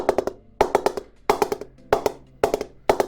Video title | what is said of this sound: Hitman Assassin LE Cricket Bat Review | where it's been pressed, it's pinging really well